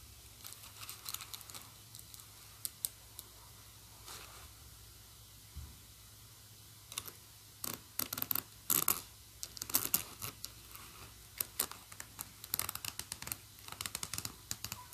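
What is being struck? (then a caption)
Metal zipper slider and pull tab on a fabric bag. Long nails tap and click a large silver metal zipper slider and pull tab on a black fabric bag, and scratch along its metal teeth. Quiet, dry, bright clicks and scratchy bursts come in irregular clusters over a faint, steady low hum, each stopping almost instantly with no ring.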